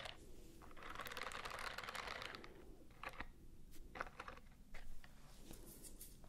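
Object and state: Silicone scrubbing glove.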